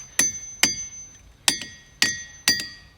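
A hammer repeatedly strikes a boulder in the boulder field at Ringing Rocks Park in Upper Black Eddy, Pennsylvania. Each blow gives a sharp, high, bell-like metallic ring that fades quickly. This ringing is the reason the place is called Ringing Rocks.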